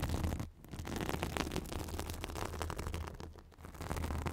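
A white fibrous synthetic bath sponge pressed against the top of a microphone is scratched with long acrylic nails. The result is a dense, continuous scratching and rustling with a heavy low rumble and faint bright crackle, dipping briefly twice before picking back up.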